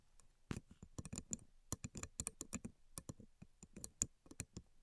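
Long nails and fingertips tap and scratch across the thin string-tied slats of a flat bamboo sushi rolling mat, first lying on a table and then held up. About eighteen quick, dry, clicky taps come in uneven bursts, each bright and sharp with almost no ring, over a faint low rustle.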